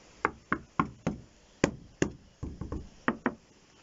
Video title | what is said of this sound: Chalet en palette,QUEL ETAT 2 ANS APRES?? | si vous tapez comme ça que ça sonne pas très beau c'est que c'est pas bon voilà ça fait un son un peu creux un peu mou